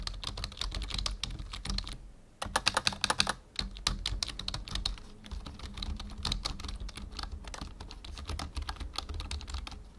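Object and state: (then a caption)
Plastic computer keyboard being typed on. Fingertips type on the letter keys and numpad of a full-size black plastic membrane keyboard, making rapid, bright, short clicks and clacks over a steady low hum. A brief pause near two seconds is followed by a louder, faster burst of keystrokes, then steady typing continues to the end.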